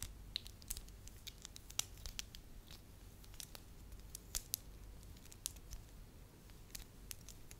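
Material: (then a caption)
Wax. A pliable, solid beige wax lump is squeezed, rubbed and twisted into a rope with fingers and long nails. Quiet, sticky crackles and bright, sharp clicks pop out irregularly over a low, steady rumble, each dying away almost instantly.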